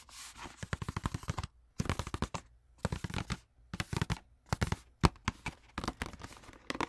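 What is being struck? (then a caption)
Cardboard wax paper box. Long nails rapidly tap and scratch the side and end panel of a hollow, long rectangular printed cardboard wax paper box held close to the camera. Quick bursts of dry, crisp clicks and scratchy rustles are separated by short pauses, with a low, hollow body resonance under each flurry. The taps die away almost instantly.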